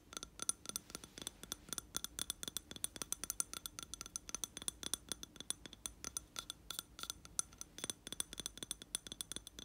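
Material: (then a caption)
Glass. Fingertips and nails tap and scratch the side and rim of a lit candle in a round glass jar filled with wax. Dozens of quick, bright glassy clicks and clinks come in a steady stream, each dying away almost at once over a faint, quiet scratching, with very little low end.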